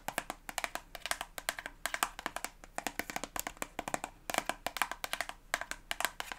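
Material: Soft plastic.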